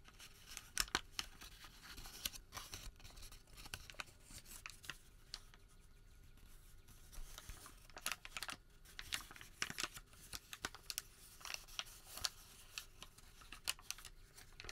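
Fingertips unfold, flex and crinkle a single long, thin, creased white thermal paper receipt with a printed logo. Crisp, bright crackles and dry rustling come in quick bursts, with a quieter stretch of soft handling in the middle before the sharp crinkles return.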